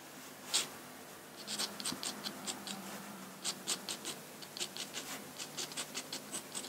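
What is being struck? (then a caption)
Steel dip-pen nib on drawing paper. A steel dip-pen nib scratches short strokes and hatching across a large flat sheet of drawing paper. The clip holds about nineteen quick, dry, bright scratches, some in tight bursts, over a quiet background with little low end.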